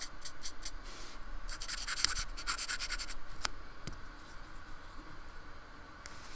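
A paintbrush scratches and strokes across the bumpy painted surface of a small, solid, flat slab of white polystyrene foam, which is held steady by hand on a wooden table. Bursts of bright, dry scratching come and go in uneven rhythm, with a few sharper ticks in the middle. The sound thins toward the end.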